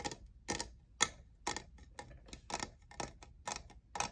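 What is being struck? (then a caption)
Plastic studded tumbler. Fingernails tap the faceted side of a tall, hollow, lavender plastic jeweled tumbler near its logo; the tumbler appears empty. About ten crisp, bright clicks fall roughly every half second, with softer taps in between. Each click is dry and dies almost instantly.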